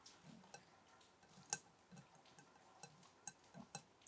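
A glass candle jar is tapped eight times at an uneven pace, giving light, bright clicks with a brief high glassy ring. The taps are quiet and short, with one noticeably louder tap early on.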